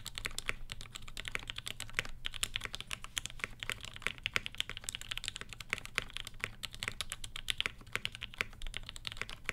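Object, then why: Mechanical keyboard with ABS plastic keycaps. Both hands type continuously with their fingertips on a black Satisfaction 75 R1 75% mechanical keyboard, fitted with Gateron Ink switches with Tangie tops, an FR4 plate and ABS plastic keycaps, resting on a floral desk mat. The result is a steady stream of rapid, short, bright clacks centered near 2.3 kHz that die away almost instantly, over a light low thump from each key bottoming out.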